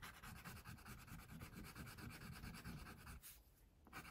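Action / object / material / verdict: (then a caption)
scrape / wax crayon rubbing on paper over a clipboard / paper / none. A wax crayon held in the fingertips rubs back and forth across a paper coloring sheet printed with a baby tiger, which lies flat on a clipboard while the other hand, with long pink nails, rests on the sheet. The quick, uneven strokes make a steady, dense scratchy rubbing with a low papery body and a faint bright hiss. The rubbing drops off briefly near the end, then picks up again.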